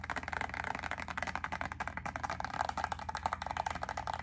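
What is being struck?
Plastic clamshell pack of wax cubes.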